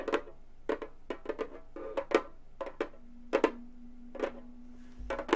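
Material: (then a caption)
Synthetic membrane. Long gold metal finger claws tap quickly on a round, hollow Remo frame drum with a synthetic head. Bursts of short, dry clicks land in quick clusters with small pauses between them, each tap carrying a hollow knock around 450 Hz and a bright metallic edge that dies away almost instantly.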